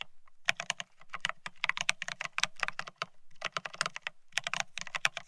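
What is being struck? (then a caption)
Mechanical keyboard with ceramic keycaps on a steel plate. Both hands type rapidly with their fingertips on a Bear65 mechanical keyboard fitted with blank white matte ceramic Cerakey keycaps on a steel plate, resting on white cloth. Quick bursts of bright, crisp clacks come over a soft low thud under each press, with short pauses between runs. Each keystroke dies away almost instantly.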